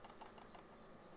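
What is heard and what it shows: A plastic SteelSeries Sensei 310 gaming mouse is shaken while its scroll wheel is held still, giving quiet, light plastic rattles. The rattle persists with the wheel held, so it comes from something loose inside the unopened mouse rather than the wheel, a fault.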